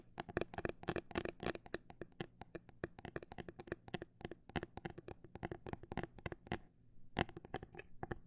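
Long black nails tap rapidly on a transparent, hollow plastic phone case with glitter inside and a grip disc on the back. The result is a dense run of sharp, dry clicks with almost no ring, which pauses briefly near the end before the tapping resumes.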